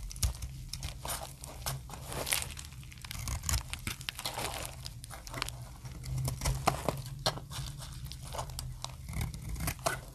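A utility blade cuts thin dry plates from a solid translucent orange dry soap bar. Crisp crackling and scraping bursts with bright, short snaps repeat steadily over a constant low hum.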